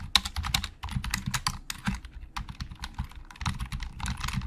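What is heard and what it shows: Fingertips type on a hollow black plastic Logitech computer keyboard. Rapid, uneven key clicks combine a bright plastic tick with a low, hollow thump. The typing eases briefly in the middle, then picks up again faster toward the end.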